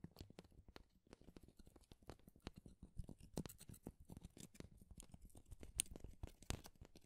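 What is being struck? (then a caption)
Thin wooden shaving strips. Long, thin, fibrous wooden shaving strips are held in both hands and rubbed and scratched together by the fingers. The result is a quiet, dense stream of dry crackles and short scratchy clicks over a soft low rumble, with a few brighter, sharper snaps standing out.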